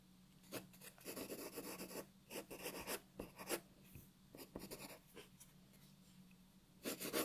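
A graphite pencil draws details on a white paper sheet lying on a wooden table. It makes short, bright, scratchy strokes in quick bursts with quiet pauses between them, over a faint steady low hum.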